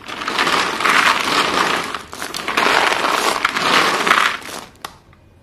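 Hands scoop up and let fall many short, solid white chalk pieces from a pile, then rake through the pile with their fingers. The result is a dense, crackling crunch that builds in three broad swells, centred in the midrange with a bright edge. It ends with one sharp tick before going quiet.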